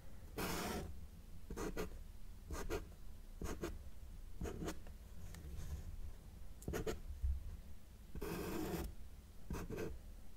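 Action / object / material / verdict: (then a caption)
scrape / felt-tip marker on a paper sheet / paper / none. A felt-tip marker held in the fingers makes short strokes on a flat white paper sheet resting on a solid table surface, drawing small trees. Quiet, dry marker-on-paper scratches come in brief bursts over a steady low background hum.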